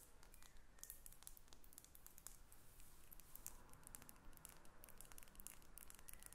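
Long acrylic nails tap and scratch a faceted glass perfume bottle with a metal cap, held above a sheet of paper. Rapid, bright, sharp clicks and faint scratching run steadily over a low, dull rumble, each tick dying away almost at once.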